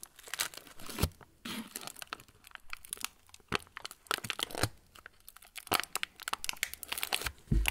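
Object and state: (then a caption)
Plastic cracker wrapper. An opened, hand-sized yellow plastic TUC cracker wrapper, partly full of crackers, is squeezed and crinkled with the fingertips of both hands. The result is a dense, bright crackling and rustling with short pauses, punctuated by sharper, louder snaps and crunches.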